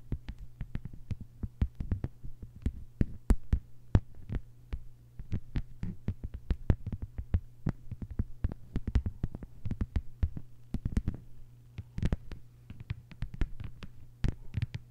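Long white-polished nails on both hands tap quickly and continuously on a thin, solid, flat lime-green plastic cutting mat lying on a table. The taps are short, dry clicks that die away almost instantly, with some sharper bright accents. A steady low hum sits underneath throughout.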